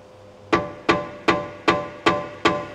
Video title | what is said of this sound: How to replace lower control arms on a Tesla Model X | if you knock that there's no noise